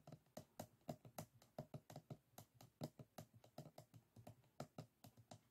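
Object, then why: Closed bamboo folding fan. Fingertips of both hands tap and scratch the bamboo rib edges of a small closed folding fan, its stacked bamboo ribs and folded paper forming a solid stack lying flat on a wooden table. About 27 quick, dry, close-up taps sound in an irregular, typing-like rhythm, each with a low, woody thud and almost no ring. Faint scratchy texture fills the gaps between them.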